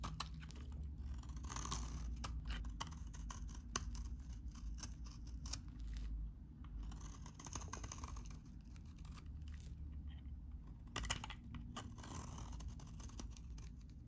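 A utility knife blade shaves curls off a solid, hand-sized, very dry, cream-colored vintage soap bar. Many short, dry, crisp crackles and scrapes run over a steady low hum throughout.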